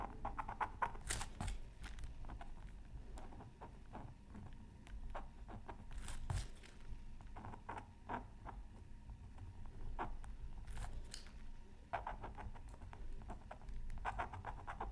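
A pointed wooden stylus scratches a thin black-coated scratch art card from a Mythical Creatures Super Scratch Art Pad. Quiet, irregular scratchy strokes and short bright scrapes come in clusters over a low, steady background rumble, with a faint steady tone near 940 Hz underneath.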